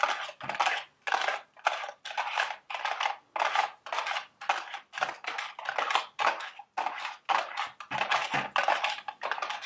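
Long red acrylic nails tap and scratch around the sides and top of a small, hollow, printed cardboard Dubble Bubble gum Easter eggs candy box resting on a table. The result is a quick, irregular series of papery scratching and tapping bursts, centered in the midrange around 850 Hz and reaching into bright highs, with almost no low end. Each burst dies away quickly.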